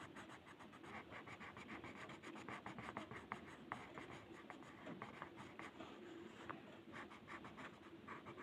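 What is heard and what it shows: A blue colored pencil held in the fingers scratches and shades across a flat white paper mandala coloring sheet resting on a table. It makes a steady, dry, scratchy rasp with quick, brighter stroke accents, each stroke dying away almost at once.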